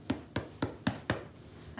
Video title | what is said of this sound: Bread Baking with Children | when I knock on them I hear that hollow sound